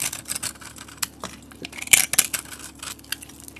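A metal utility blade shaves thick curls off the edge of a solid bar of soap with a yellow painted and glitter coating. Bright, crisp scraping and crackling comes in quick, irregular bursts, with a couple of sharper, louder snaps near the middle over a faint steady hum.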